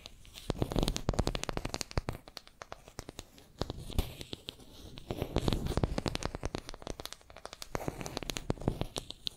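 Long nails scratch and tap on a small, solid wooden makeup brush handle held in both hands between two microphones. Bursts of rapid, sharp clicks and taps ride over a soft, crinkly scratching texture, coming in three busier stretches with quieter gaps between them. The taps are dry and short, with no ring.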